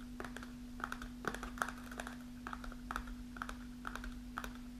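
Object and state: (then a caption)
Kraft paper snack pouch. Long nails tap the front panel of an upright kraft paper snack pouch partly filled with dried mulberries. An irregular run of quick, dry, papery ticks centers around 1.3 kHz, each dying away almost at once. A steady low hum runs underneath throughout.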